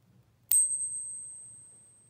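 A genuine 90% silver Mercury dime is pinged once, giving a sharp strike followed by a long, pure, high bell-like ring that slowly fades. The long ring marks it as real silver, in contrast to a fake dime's thud.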